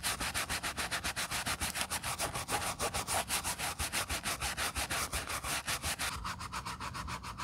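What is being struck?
Quilted leather ballet flat scrubbed with a bristle brush.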